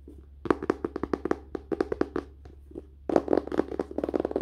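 Fingers tap quickly on a book's cover and paper in dull, short knocks centered low-mid around 340 Hz, with almost no ring. The taps come in a rapid run with a short pause before a denser burst at the end, over a faint low hum.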